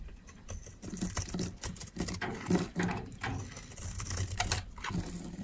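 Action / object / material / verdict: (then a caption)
scrape / bar of soap scraped with a metal blade / soap / none. A metal utility knife blade scrapes and shaves thin flakes off a palm-sized solid white bar of dry soap, held in one hand with long red-painted nails. A steady run of short, crisp scraping strokes crackles and ticks with quick dry attacks. The sound is mostly low and soft, with brief bright edges on each shave.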